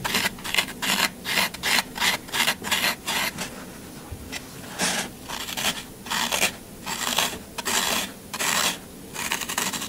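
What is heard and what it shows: A pointed tool scratches and gouges the side of a solid green floral foam half block held in the hand, making repeated crumbly, rasping strokes in irregular bursts. The scraping sound is bright and airy, mostly high-frequency, with almost no low end. Each stroke cuts off quickly with no ring.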